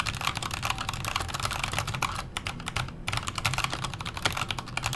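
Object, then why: Mechanical keyboard with metal case and plastic keycaps. Fast fingertip typing on a backlit KONO Kira mechanical keyboard with Halo Clear switches, a metal case and plastic keycaps. It makes a dense stream of bright, sharp clicky-clacky keystrokes over a low thock, with a brief lull in the middle before the rapid typing resumes.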